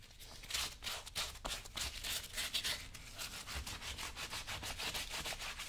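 A blue cloth over fingertips is rubbed repeatedly across the right brown leather work boot, worn on a foot, producing quick, bright, brushing swishes at roughly three strokes per second. The strokes come in uneven bursts of hissy friction with a faint low thump beneath, sounding hollow with the foot inside.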